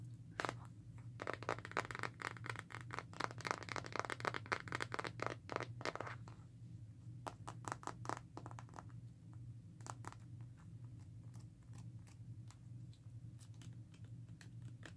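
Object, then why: Plastic and rubber phone case. Long acrylic nails tap and scratch the back and edges of a smartphone in a black rugged hard plastic and rubber case, hand-sized and solid, held in both hands. Quick, bright clicking taps come densely for the first six seconds, then thin out into sparser, irregular taps and soft scratches over a steady low hum.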